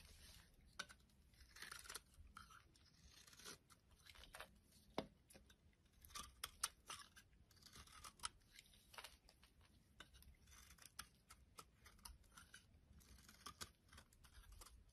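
A solid purple bar of soap is scraped flat with the edge of a metal utility blade. Quiet, dry scraping and crisp crackling come in uneven bursts, bright and brittle in tone with a faint low rumble underneath. Each scrape stops almost instantly, with no ring.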